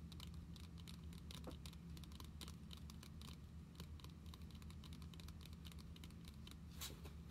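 Long nails tap along the top edge and surface of a closed Pokémon card binder with a glossy plastic cover. The result is a quiet, steady stream of rapid, bright clicking taps over a low, constant hum.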